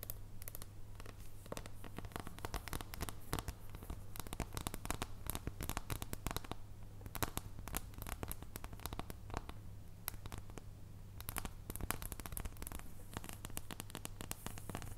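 Long blue nails tap and scratch the surface and edges of a solid dark chocolate bar held in both hands. A dense, continuous run of short, crisp clicks and scratchy strokes rides over a steady low hum, with brief quieter stretches between busier bursts.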